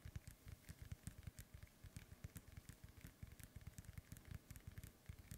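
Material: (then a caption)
Synthetic leather. Fingertips tap and scratch a hollow, inflated synthetic leather soccer ball held in both hands. A quick, steady run of soft, dull, low thumps sounds against a faint, bright scratchy crackle. Each tap dies away almost instantly.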